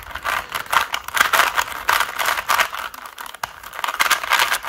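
Both hands rapidly turn the layers of a small 3x3 plastic Rubik's cube with fingertips and nails. The plastic pieces make fast, dense clicking and rattling in uneven bursts, with a bright, midrange-centered tone and almost no low end.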